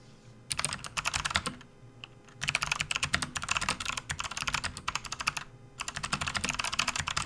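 A full-size, RGB-backlit plastic membrane gaming keyboard made by Hexgears sits on a desk mat while both hands type fast, continuous key presses with the fingertips. Three bursts of rapid, bright, clicky keystrokes with very short decay are separated by brief quiet pauses.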